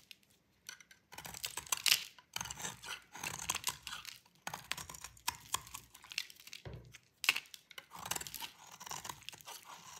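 A metal utility blade held in the fingers shaves a solid rectangular bar of dry cream-white soap. Quiet, bright, crisp scraping and crunching strokes come in bursts separated by brief pauses, with almost no low end and no ring after each cut.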